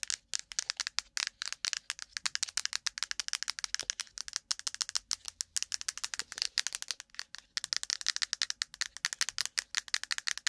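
A plastic cotton swab case is tapped quickly and roughly, giving a rapid, uneven stream of sharp, bright clicks with a rattly edge. Each tap is dry and stops at once, with almost no low end.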